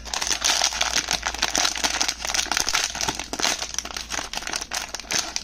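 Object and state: Foil pouch being crinkled and torn.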